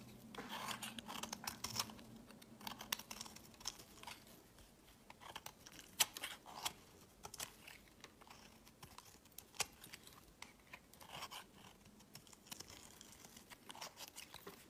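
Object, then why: Solid bar soap. A hand-sized solid grey bar of soap, held in the hand, is shaved with a metal utility knife blade, peeling off fine powdery curls. Quiet, bright, dry scraping strokes come in quick irregular bursts, with a few sharper clicks standing out and almost no low end.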